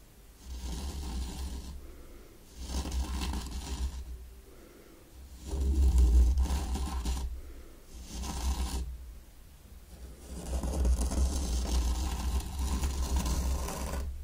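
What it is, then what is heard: Sand raked in a wooden tray. A mini wooden rake is drawn in spirals through fine pink sand in a small round wooden zen garden tray. It makes soft, low, rumbling scratches in repeated raking strokes with short pauses between them. The final stroke is longer and sustained.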